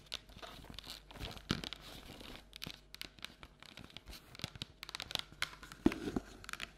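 A medium round printed cardboard Halloween candy bucket with a pumpkin design, hollow, is held in both hands and tapped and scratched on the outside with long natural nails. Quick dry scratching, crinkly rasps and sharp taps come in a busy, uneven stream, with brief louder tap bursts.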